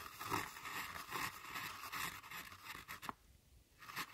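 A thin metal tool scrapes and crushes a pile of crumbled brown pressed eyeshadow powder in a pressed powder eyeshadow palette. It makes a run of soft, gritty, bright scratching strokes in a loose rhythm, with one sharp tick near the end. A brief near-silent pause follows before the scraping starts again.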